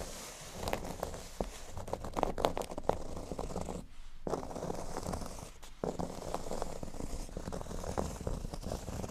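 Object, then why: Cork board. Both hands scratch across a large, flat, solid speech-bubble-shaped cork board with short nails. The result is a steady, dry, crackly scratching and rustling, with sharp little scrapes over a low rumble, a brief near-silent gap around the four-second mark and a short dip later.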